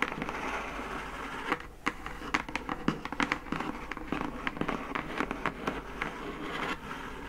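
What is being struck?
Closed cardboard gift box.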